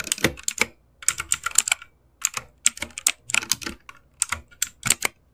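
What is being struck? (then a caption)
Mechanical keyboard with plastic keycaps. Both hands type fast with their fingertips on an RGB-backlit mechanical keyboard with plastic keycaps. It gives dense, bright key clicks that come in quick bursts with short pauses between them. Each click is sharp and dies away almost instantly, with very little low end.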